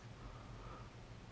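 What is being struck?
Nothing is struck.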